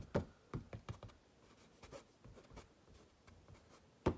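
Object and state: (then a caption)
Stretched canvas painting. Fingernails tap and scratch across the surface of a pink stretched canvas painted with butterflies, hollow at the back. Soft, dull taps with short scratching strokes come in an irregular run, with strong low-end thuds and almost no ring; a louder tap lands at the end.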